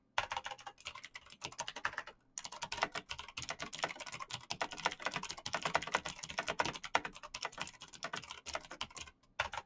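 Fingertips in fingerless knit gloves type fast on a black plastic mechanical gaming keyboard with clicky green switches, backlit keys and a hollow case. Quick, bright clacks come in a dense stream with short dry decays, pausing briefly twice before the typing resumes.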